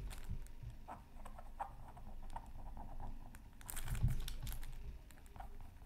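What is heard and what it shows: A pointed bamboo stick scratches fine strokes into the black coating of a thin, solid scratch art card from a Mythical Creatures Super Scratch Art Pad, resting flat on a silicone mat. The quiet, dry scratching comes in short, irregular strokes over a low rumble. It builds into a denser, brighter crinkling burst near the four-second mark before easing back.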